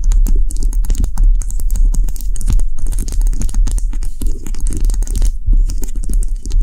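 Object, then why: Wax bubble cube candle. Long nails tap quickly all over a small, solid white cube-shaped wax candle made of round bubbles, sitting on a dark table. The result is a dense, continuous stream of short, dull taps with a heavy low body and faint bright clicks, each tap dying away almost at once.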